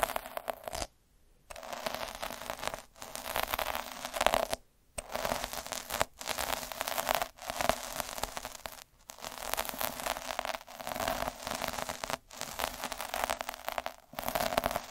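A black-handled roller with metal needles is rolled back and forth across a thin red felt cloth, scratching its surface. Each pass is a dense, bright, crackling scratch, and short silent gaps separate the repeated passes.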